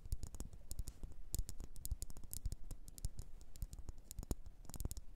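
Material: Wax.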